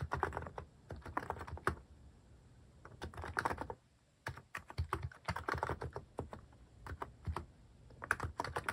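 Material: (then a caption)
Plastic. Fingertips type on a cream plastic-case mechanical keyboard with cat- and paw-shaped plastic keycaps, pressing keys repeatedly. Quick bursts of short, clacky keystrokes have a thumpy low body and a crisp click that dies almost instantly. The bursts are separated by brief quiet pauses.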